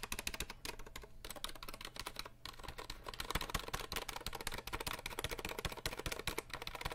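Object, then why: Plastic mechanical keyboard keys. Fingertips rapidly tap the plastic keycaps of a compact 60% RGB mechanical keyboard, producing a dense stream of sharp, clacky clicks with bright high-end snap and a low thump under them. The taps run almost continuously, with brief pauses just past the one- and two-second marks.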